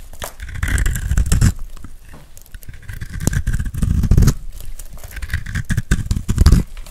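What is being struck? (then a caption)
Bar of soap. A metal carving blade scrapes across the face of a hand-held, dry, solid pink soap bar with a gold glitter coating, shaving off curls. Dry, crackly, crunching scrapes come in repeated strokes that swell and fade, with a heavy low-end rumble beneath them. Each pass leaves the bar shaved further.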